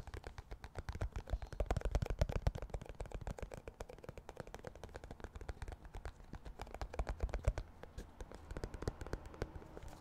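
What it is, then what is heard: Clear plastic cotton swab tub. Fingertips and nails tap rapidly on the lid and ribbed sides of a round, clear plastic tub full of cotton swabs. The result is a fast, uneven run of short, dry, muffled taps, weighted toward the low end, with no ringing after each tap.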